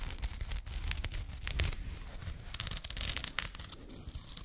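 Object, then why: Small burlap jute pouch. A small, soft, hollow burlap jute pouch is scratched with long nails, giving a continuous dry, rough scraping texture. Brief bright rasping bursts rise over a heavier low rumble throughout.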